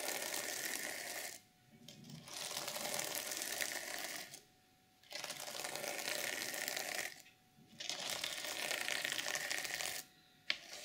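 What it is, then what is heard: Sequin fabric cover being scratched. Long nails scratch downward across a flat, reversible sequin fabric journal cover, flipping the sequins. The result is a bright, dense, crackling rustle in four long passes separated by short quiet pauses, with a brief click and the start of another pass at the end.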